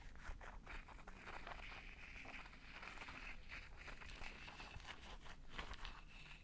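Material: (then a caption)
Plastic, metal. A hand-sized pink plastic massage roller with rows of chrome metal roller balls is held in one hand beside the microphone. Long red-painted nails and fingertips tap and scratch across its plastic body and metal balls. The result is a steady stream of quiet clicks and bright scratchy rasps over a low rumble.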